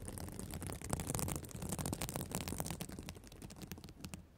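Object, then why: Plastic sequin fabric notebook cover. Long black acrylic nails scratch and flip the small plastic reversible sequins of a flat fabric emoji-pattern cover on a spiral notebook, around a microphone resting on the cover. The result is a dense, uneven run of crisp clicks and rustling scrapes over a heavy, rumbling low end, fading softer toward the finish.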